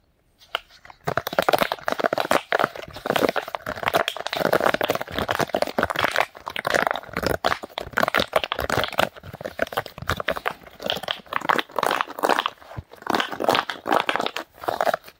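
Hollow bubbles on a rectangular rainbow silicone pop-it fidget toy, held in both hands, are pushed and popped with fingertips while the toy is flexed and folded. The result is a dense, rapid stream of short, dry pops and crinkly crunches, mostly in the midrange with little low end, each one stopping almost instantly.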